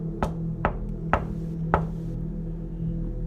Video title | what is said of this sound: The Mirror Mystery NOBODY Could Solve | there's nothing that's telling me that there's anything behind this